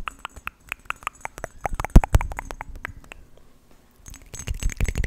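A hand-sized, hollow-looking green marbled glass or glazed Christmas tree ornament, tree or cone shaped and topped with a red glass bow, is held right at the mic and tapped with fingertips and nails. Quick, dry clicks and taps ring out over a heavy low thumping rumble. The tapping fades into a brief near-silence, then resumes as a denser flurry.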